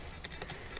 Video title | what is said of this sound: YOU WONT BELEIVE WHAT I FOUND TAKING APART MY 50 YEAR OLD BOAT (part 3) | if you knock you can hear it's not it's not hollow